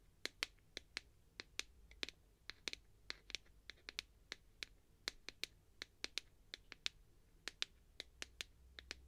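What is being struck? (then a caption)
Clear plastic tube container with plastic end cap. Long nails tap the wall and black plastic end cap of a clear plastic tube holding sponges. About 32 quick, sharp, bright clicks ring out in an irregular rhythm, each dying away almost instantly. A faint low hum sits underneath.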